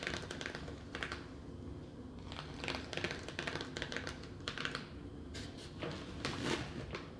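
A clear, thin plastic clamshell bakery container, full of bread rolls and held in the hand, is tapped with long nails. It gives quick, light, hollow clicks in uneven bursts, each dying away almost at once over a steady low background hum.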